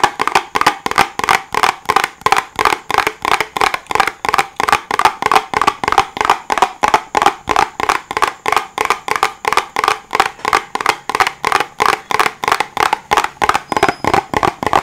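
Fingertips tap and scratch a small, hollow, white and green printed cardboard box held close in front of the microphone. About 52 quick, dry taps come in a steady, slightly uneven stream of roughly three per second. Each tap is a short, hollow knock with a midrange tone near 785 Hz and a little bright scratchy texture, dying away almost at once.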